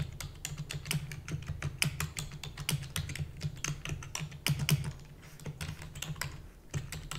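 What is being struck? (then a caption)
Plastic computer keyboard keys. Rapid typing with long natural nails and fingertips on a full-size black plastic keyboard with hollow keys gives a fast stream of sharp, bright clicks and taps. A steady low hum runs underneath throughout.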